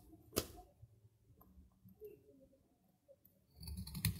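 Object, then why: Soap bar cut with a metal knife. A metal knife shaves and cuts brittle curls off a solid, dry piece of soap held in the hand. A sharp, crisp crack of the blade at the start gives way to quiet, scattered scraping and light ticks. The clip ends in a louder, denser burst of crunchy cutting with bright, brittle snaps.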